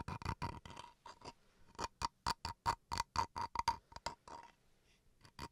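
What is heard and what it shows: Fingernails scratch and tap the grained face and edge of a small solid bamboo wood chopping board. The result is a quick, uneven series of sharp, dry taps and scrapes, each carrying a woody knock near 900 Hz with a bright edge. Each sound dies away almost instantly, with short quiet gaps between bursts.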